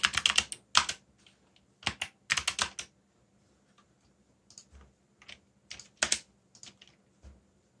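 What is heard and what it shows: Fingertips type quickly on the keys of a backlit black plastic mechanical keyboard. Sharp, bright clicky keystrokes come in rapid bursts separated by short pauses, loudest at the start and growing softer and sparser toward the end, with a faint steady low hum underneath.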